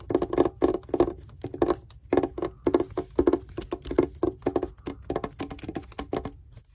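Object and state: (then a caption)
Wrapped cardboard gift box. Long red-painted nails tap and scratch with both hands across a gift box wrapped in white paper with red polka dots, lying flat. Quick, dry, papery taps come in rapid bursts with a hollow midrange tone around 350 Hz. Soft scratching fills the gaps between them.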